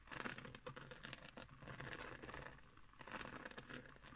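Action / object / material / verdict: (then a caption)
scrape / woven straw or seagrass trivet / straw / none. Long green acrylic nails scratch and tap a round, flat woven straw or seagrass trivet resting on a wooden table. The result is a quiet, continuous run of dry, crinkly scratching with light, quick taps and a bright, rustling texture.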